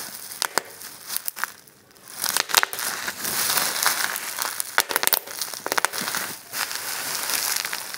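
Clear plastic bubble wrap is pinched and squeezed in a fist while the thumb and fingers pop the bubbles and crinkle the sheet. Sharp, bright pops burst out over a steady, hissy plastic crinkling, with brief quieter lulls around two seconds and six and a half seconds.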